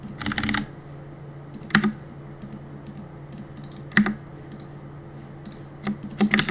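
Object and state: Plastic mechanical keyboard.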